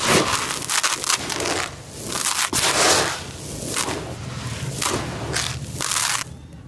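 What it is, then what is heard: Dry crushed concrete grit. Palms scoop dry grey crushed concrete grit from the edges of a white tub and crumble it through the fingers. The result is bright, gritty crunching and crackling in repeated bursts, with brief softer pauses between them. The sound trails off into a quiet rustle at the end.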